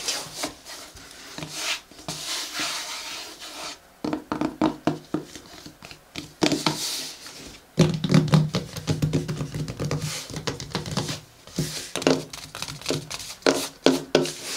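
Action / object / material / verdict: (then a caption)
scrape / paper-covered hardcover book / paper / none. A closed pink hardcover journal with a matte paper cover rests on a table while flat hands rub the cover and fingertips and nails scratch and tap it. Soft, papery rubbing swishes mix with many short, dry taps and scratchy bursts, with quiet gaps between them.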